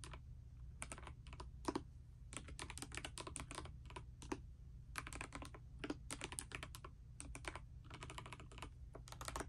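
A pastel mechanical keyboard with plastic keycaps, resting on a bedspread, is typed on continuously with fingertips and long nails. The result is a steady stream of quick, crisp clacks that spread from low into bright highs, over a constant low hum.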